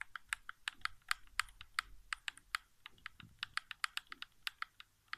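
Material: Plastic.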